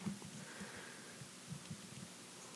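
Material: Nothing is struck.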